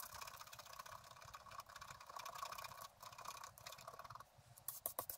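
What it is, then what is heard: Scratch-art paper being scratched. A wooden stylus scratches a coated scratch-art card lying on a table, working near its right edge. The quiet, dry scratching rasps on steadily with a bright, papery hiss centred around 1 kHz, then ends in a few sharper, louder strokes.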